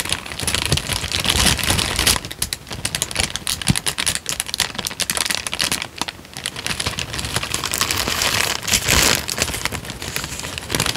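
Fingertips fold and crinkle a thin, light-brown paper sheet just in front of the microphone. Dense, bright crackling and crisp rustles run continuously, with short sharp snaps scattered throughout and brief lulls between bursts.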